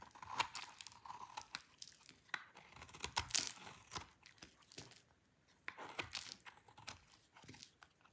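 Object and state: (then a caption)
Dry soap bar, crunchy. A hand-sized, dry, cream-white bar of soap is held in the hands and carved with a utility knife blade, scraping crunchy flakes off onto a pile. Dry, bright scraping crunches come in irregular bursts with short pauses, each cut giving a crisp crackle of breaking flakes.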